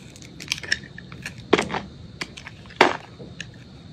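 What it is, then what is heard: Bar of soap being scraped. A metal utility blade cuts and scrapes pieces off a solid white soap bar held in the hand. Dry, crackly crunches and short scrapes come at an irregular pace, with two louder, fuller crunching cuts standing out among quieter bright flicks. Each sound stops quickly with almost no ring.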